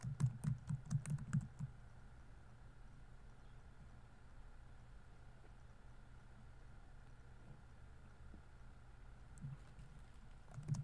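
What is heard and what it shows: Fingertips type on the plastic keys of a laptop keyboard, producing a quick run of soft, low, muffled taps in the first second and a half. A long near-silent stretch with a faint steady low hum follows, then a few more taps return at the very end.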